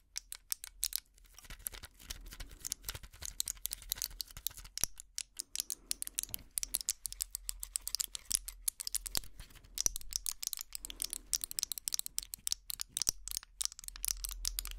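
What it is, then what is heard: Plastic and foil pill blister pack. Fingernails tap and scratch the clear plastic bubbles of a small foil-backed pill blister pack held close to the mic. The result is a fast stream of sharp, bright clicks and crinkly scratches, with very short decays and little low end.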